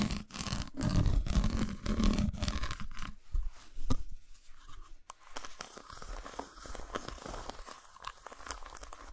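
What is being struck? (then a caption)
Dark chocolate bar. Long nails tap and scratch a solid, unwrapped dark chocolate bar, first held up and then laid flat on a towel with its textured, dotted underside facing up. Dense, fast crackling scratches and dull taps are loudest and heaviest in the low end for the first few seconds. They then give way to quieter, finer scraping and light tapping.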